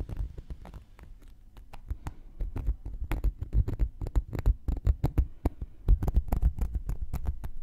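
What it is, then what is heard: Cork coaster. A thin wooden knitting needle taps and pokes the surface and rim of a round, flat, solid cork coaster held in one hand. The result is a quick, irregular run of dull, low, muffled taps with almost no ring, some sharper clicks, and a faint scratchy patter between them.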